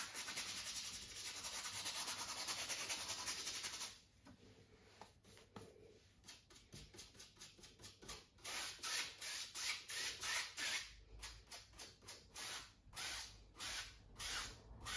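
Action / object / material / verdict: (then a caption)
scrape / stretched cotton canvas on wooden frame / cotton canvas / none. A wide flat brush is rubbed back and forth across the upper area of a stretched cotton canvas, taut over a hollow wooden frame and set on an easel. It starts with about four seconds of continuous, bright scratchy rubbing, then breaks into a steady run of short, separate swishing strokes. The strokes grow louder and more pronounced toward the end.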